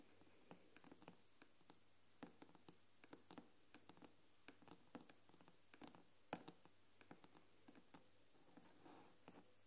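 Long nails tap and scratch on the silver aluminium back of an iPad tablet. Quiet, sharp, bright clicks come in an irregular patter with almost no ring, over a faint steady low hum. A brief soft scratch follows near the end.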